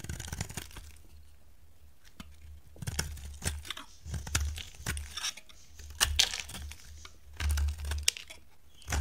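A dry pink bar of solid soap, held in the hand, is shaved with a metal utility blade. Irregular dry scraping and crisp crumbling cuts repeat with bright, short bursts and a low rumble underneath. Each stroke dies out almost instantly.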